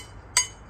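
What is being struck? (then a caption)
Small aluminum piece. A second, small aluminum piece is tapped once, giving a short, bright, high-pitched clink that dies away almost at once. The sound is this high and brief because the piece is small.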